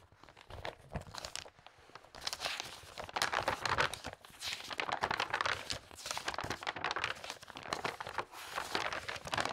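A large open magazine with coated glossy pages lies on a table while long-nailed fingers flip the pages quickly. The result is a continuous run of crisp, bright paper flutter and crinkling, with short rustling bursts rising and falling throughout.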